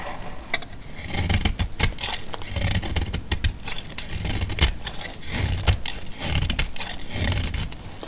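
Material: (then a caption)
Soap. A solid, dry purple soap bar held in the hand is cut into flakes with a metal utility blade. The clip is a steady run of crisp, dry scraping and crackling strokes with a bright, gritty edge over a low, dull rumble. Each cut snaps off short with almost no ring.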